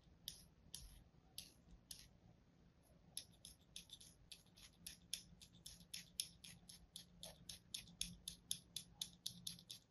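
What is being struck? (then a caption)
Kinetic sand slab. A thin metal blade scratches and slices lines into a small, solid slab of kinetic sand resting on a palm. It makes crisp, bright, dry scraping strokes with almost no ring. The strokes start sparse, then settle into a quick, fairly steady rhythm of about four per second over a quiet background.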